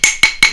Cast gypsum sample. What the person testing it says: c'est comme un monolithe ! - Oui - Entendez-vous ? -Oui! -Ça va être très fort !